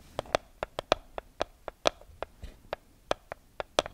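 A small neon-yellow paper sticky note pad is held close to the mic while long nails riffle and scratch the edges of its sheets. About 15 short, dry, crisp ticks come at an uneven pace, each centred in the midrange with a bright top and dying away almost instantly. Soft papery rustles sit between the ticks over a quiet background.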